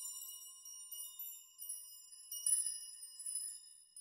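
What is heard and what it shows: Hands push through bunches of long hanging steel nails on a nail chime and rock them so they clink together. The result is a quiet, continuous bright tinkling with sustained high metallic tones, swelling into denser clusters of clinks as the nails are shaken.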